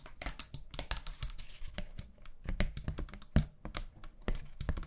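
Long nails rapidly tap and scratch a thin, flat, round pastel paper hand fan with a bamboo handle. The result is a dense run of quick, dry, crisp taps and papery scratches with a low thump under each, and every sound dies away almost instantly.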